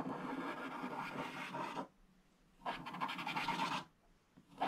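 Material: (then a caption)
Coated paper. A thin wooden stylus held in the fingers scratches a flat scratch-art book page, black coating over gold foil, lying open on a table, and in between the hand also sweeps across the page. Long, dry raspy scraping strokes with a gritty midrange and bright hiss come in bursts separated by near-silent pauses, with a new stroke starting right at the end.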